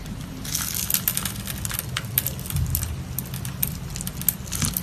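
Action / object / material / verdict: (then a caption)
scrape / bar of soap cut with a blade / soap / none. A solid cream-colored soap bar held in the hand is scored with a box-cutter blade, then small soap cubes are sliced and crumbled off. Dense, crisp crackling and bright crunchy snaps come in quick, uneven bursts over a steady low rumble.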